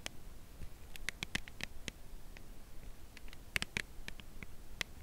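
Long nails tap slowly and gently on the narrow edge of a full cardboard chocolate bar box held horizontally. Each tap is a short, dry, bright click that dies away instantly, scattered irregularly over a quiet, low background hiss.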